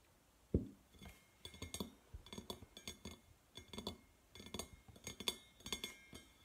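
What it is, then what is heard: Stainless steel tumbler. A hand-sized, hollow, red-painted stainless steel tumbler shaped like a drink can, with a steel base, is set down on a table with a low thud. It is then tapped with the fingernails around its sides in quick clustered bursts of bright, short metallic clicks and clinks.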